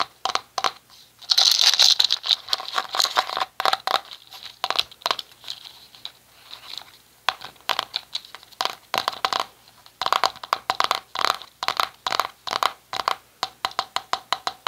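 A small round red plastic cosmetic jar with a lid, held in both hands, is tapped with the fingertips and scratched with short nails on the lid and side. The result is a rapid, uneven string of crisp, dry clicks and bright scratchy crinkles with almost no low end, each tap dying away almost instantly.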